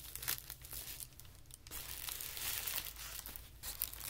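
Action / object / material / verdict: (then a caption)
scrape / tissue paper sheet / paper / none. A thin, wrinkled sheet of white tissue paper lying on carpet is gathered, folded and pressed by hands. It gives a continuous, bright, papery crinkling and crackling with soft swells and brief sharper bursts. A faint low steady hum runs underneath.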